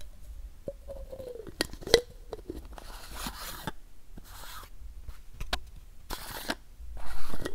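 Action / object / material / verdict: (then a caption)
scrape / plastic pill bottle with paper label / plastic / none. A medium, hollow white plastic pill or supplement bottle with a printed paper label is held in one hand and scraped and scratched along its side with the fingertips of the other hand. Dry, hissy scratching bursts alternate with sharp clicks and taps, over a steady low rumble. Early on, a brief hollow squeak sounds around 465 Hz.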